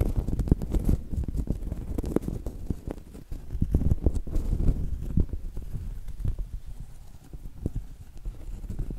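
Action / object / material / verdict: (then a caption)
tap / round cork coaster / cork / none. Long acrylic nails tap and scratch a round, solid cork coaster held at a tilt. The result is a steady flurry of dull, low, muffled taps with no ring, mixed with soft scratchy rustling and a faint clip-clop rhythm.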